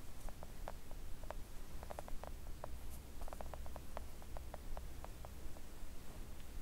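Long acrylic nails gently tap a flat pink silicone nail art mat lying on a table. They make a quick run of soft, short, muted clicks with no ring. A steady low hum runs underneath throughout.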